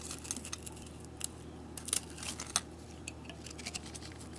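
A metal blade shaves the scored surface of a solid blue soap bar held in the hand, curling it into flakes. Quiet, bright, crisp scraping ticks come in irregular bursts over a faint, steady low hum.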